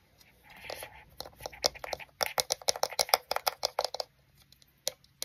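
Fingertips and nails tap on the lens ring and front of a small, hollow, black plastic compact digital camera with a round lens barrel, held close in front of the microphone. After a soft scratchy rub, about twenty quick, dry, bright clicks come in an uneven run, each stopping at once with no ring, then a few scattered taps at the end.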